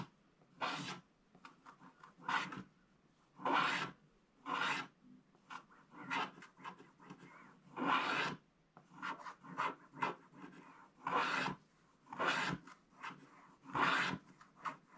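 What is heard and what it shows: A wooden stylus scratches across a flat, black, wax-coated scratch-art paper page, working on the purple background at the right edge. Dry, raspy scratching strokes come in short bursts separated by quiet pauses, with a papery midrange rasp and bright high edges.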